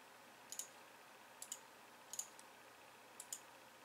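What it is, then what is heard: Plastic computer keyboard. One hand slowly presses and clicks the white keys of a pink plastic computer keyboard with fingertips and long nails. Short, bright, crisp clicks come mostly in close pairs, separated by pauses of about a second, over a faint steady hiss. Each click dies away almost instantly.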